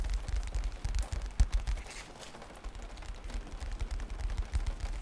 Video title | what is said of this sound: ASMR Tapping During Thunderstorm [HAND SOUNDS] [RAIN SOUNDS] | The old aged paperback cover makes good sounds.